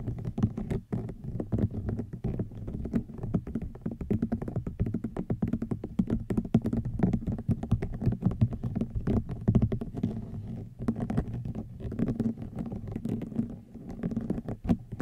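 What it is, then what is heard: Rattan wicker basket. Fingernails tap rapidly on a hollow woven rattan wicker basket for fifteen seconds. The result is a dense, continuous patter of short, dull, low-pitched taps that die away almost instantly.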